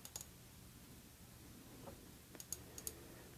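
A Celine Black Tie rectangular faceted glass perfume bottle, partly filled with amber liquid, is held in hand and tapped with long red-painted nails. Several quiet, sharp, high-pitched clicks stop almost instantly, scattered irregularly over a faint low background hum.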